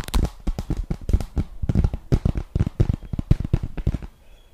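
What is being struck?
Cardboard eyeshadow palette case.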